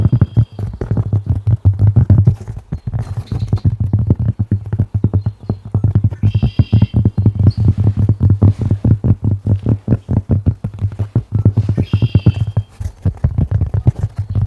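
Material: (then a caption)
Cork. Dense, rapid tapping on a cork object continues throughout, producing short, dull, low-pitched knocks that run together in a clip-clop-like rhythm. Faint high chirps appear briefly in the background.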